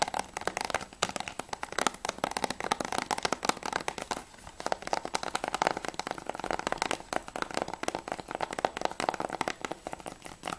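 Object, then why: Hard plastic game case. Fingertips and short nails tap fast on the front surface of a closed Blu-ray style PS3 game case for GTA V, made of clear-covered hard plastic and held up with the back cover showing. The result is a dense stream of quick, dry plastic clicks with a crinkly, crackling texture, centered in the mid range around 730 Hz with little low end. There are brief pauses near 4.3 and 7 seconds.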